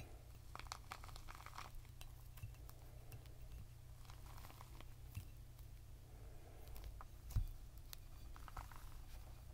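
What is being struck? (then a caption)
Whole pomegranate with leathery rind. A whole, full, fist-sized red pomegranate with a leathery rind is held in both hands while the fingertips tap and rub its surface. The result is a quiet stream of soft, dry taps and scratchy rubbing over a low steady hum. It ends with a firm squeeze of the fingers that gives one louder, sharper tap near the end.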